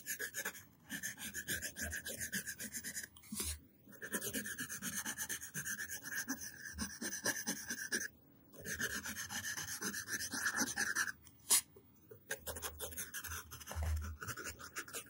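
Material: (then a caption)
Paper. A yellow wooden pencil tip rubs and scratches letter strokes onto a flat white paper sheet lying on a table, held flat by the fingers of one hand. Dry, bright scratchy rasping comes in bursts of writing strokes, broken by short silent pauses.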